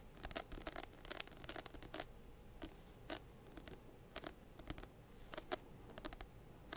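A medium paperback textbook with solid paper and an orange-banded "Second Edition" cover is held close to the microphone and scratched and tapped with fingertips and nails. Quiet, dry, crisp scratches and sharp bright clicks come in quick irregular bursts, each dying away almost instantly.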